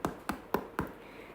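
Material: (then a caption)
Bread crust. Four hollow taps on a hot chocolate sourdough loaf fresh out of the oven, each a short dull knock with little ring. The hollow sound shows the loaf is cooked through.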